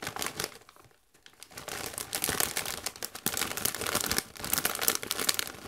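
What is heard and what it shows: A medium-sized Doritos chip bag of metallized plastic, partly full of chips, is squeezed and crinkled by hands in white costume gloves. Dense, bright crackling and crinkling fill the clip, with a brief near-quiet pause around the first second before the rustling builds back up in sharp bursts.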